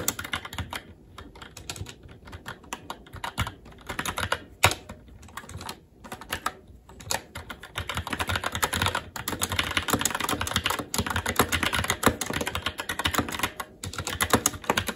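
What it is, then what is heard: Mechanical keyboard with plastic keycaps on a metal plate. Fingertips of both hands type continuously on a SteelSeries Apex 7 TKL mechanical keyboard with red linear switches, black plastic keycaps and an aluminum plate. Rapid, crisp plastic clacks each die away almost instantly, with a few brief pauses early on. The typing grows denser and louder from about halfway through.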